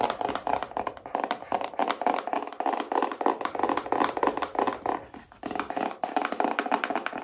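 Long nails tap rapidly and steadily across the front and edges of a small, hollow black cardboard iPhone box held up in the air. Each tap gives a short, dry, hollow knock in the mid range. The sound dies away almost instantly and there is no low boom.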